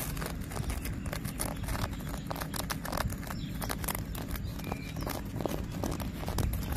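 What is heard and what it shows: Fingernails and fingertips gently scratch and tap the rough, textured bark of a thick, solid tree trunk. A steady stream of short, dry clicks and scrapes runs over a low, dull rumble, with no lingering ring after each touch.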